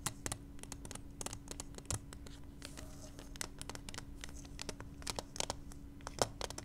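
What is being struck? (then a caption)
Small clear plastic case. Long manicured nails tap and scratch the outside of a small, hollow, clear plastic case holding a pink pacifier, which lies on velvet. Quick, sharp, bright clicks are scattered over soft scratchy rustling and a steady low hum.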